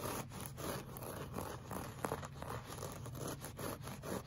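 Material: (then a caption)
Fabric. Short fingernails scratch and claw across a solid, flat beige looped-pile woven rug, producing a steady, dry scraping and rustling texture. Repeated clawing strokes create a low rumbling body with soft, gritty scratches layered on top.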